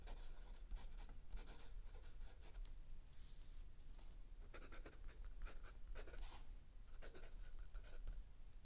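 A mechanical pencil writes continuously on a lined paper page of a spiral-bound notebook lying flat on a wooden table, while an open paperback book sits still under the other hand. Soft, bright scratching strokes come in short bursts over a steady low rumble, all at a quiet level.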